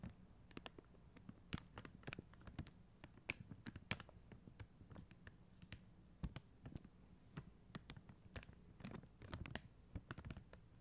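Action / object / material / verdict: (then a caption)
scrape / plastic rhinestone sticker sheet tapped and scratched with long nails / acrylic plastic / none. Long acrylic nails scratch and tap the gems on a flat acrylic rhinestone sticker sheet, plastic stickers on a white backing. Quiet, sharp clicks and short bright scratches come in an irregular patter over a soft low hum, each tick dying away almost at once.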